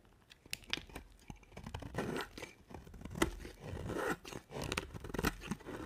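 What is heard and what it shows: A utility knife blade scrapes and carves flakes off the surface of a dry, solid white soap bar with a dark coated edge. The result is a series of crisp, crunchy scraping and tearing strokes punctuated by sharp, bright clicks, with longer swells of gritty scraping between them.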